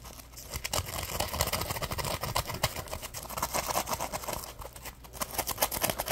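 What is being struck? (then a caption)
Polymer foam sponge. A dry, yellow-orange Scrub Daddy Puppy polymer foam sponge is scratched on its textured scrubbing side with short nails and squeezed with fingers. It makes a continuous run of dense, crackly scratching and crinkling with bright, rustling texture. Quick, short-lived bursts rise and fall throughout over a faint low hum.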